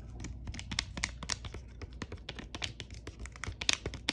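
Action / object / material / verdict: tap / foil-laminate sachet tapped and scratched with fingernails / foil laminate / none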